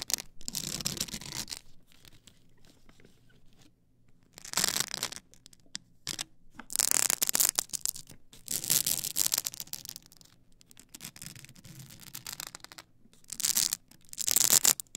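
Long acrylic nails scratch up and down the solid ridged edges of a tall stack of blank polycarbonate CD-R discs on a plastic spindle. The result is bright, raspy bursts of scraping separated by quiet pauses, with the loudest passes toward the middle and end.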